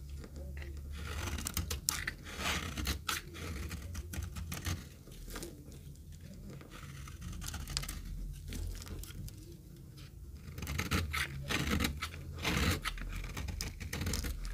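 A metal knife cuts and scrapes dry flakes off an oval, solid, very dry retro green soap bar held in the hand. Crisp, crunchy scraping and bright, dry crackles repeat in uneven strokes over a steady low background hum.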